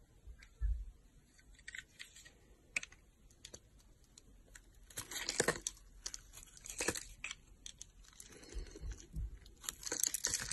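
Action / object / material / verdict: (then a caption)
scrape / bar of soap / soap / none. A solid pink oval embossed soap bar, held in the hand by long nails, is carved with a utility knife blade. Scattered dry scraping and cutting strokes come through with bright, crisp crackles, low soft bumps, and denser shaving bursts near the middle and end.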